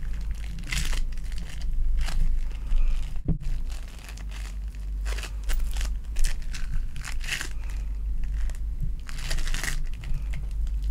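A lilac foam bead clay ball is held in the hand and crushed and kneaded with fingers and long nails, making a continuous run of bright, crunchy crinkling and crackling bursts. A steady low hum sits underneath throughout.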